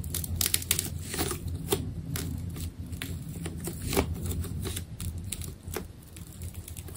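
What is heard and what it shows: A utility knife blade cuts into the surface of a solid, palm-sized ball of glossy purple adhesive tape. Sharp, bright crackling snaps and clicks come in quick bursts over a steady low rumble. The cutting continues throughout, with some louder cracks standing out.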